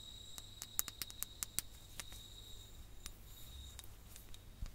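A ribbed clear glass sand timer with orange sand, red tassels and hollow bulbs is tapped with long nails and turned over. The result is a quick series of soft, sharp, bright clicks that cluster early and then thin out. A faint steady high tone and a low rumble run underneath.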